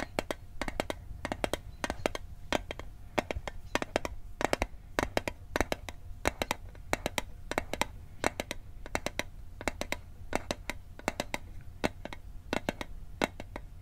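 A metal Altoids mint tin is tapped repeatedly with quick, uneven bursts of light taps. Each tap is a short, bright metallic click that dies away almost at once, over a faint low background hum.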